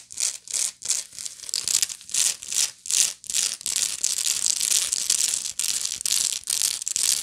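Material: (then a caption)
Straw. Long nails scratch the woven base and sides of a medium, hollow woven straw bag. The result is dry, bright, raspy scratching with almost no low end, heard first as separate quick strokes and then as a denser, near-continuous rasp.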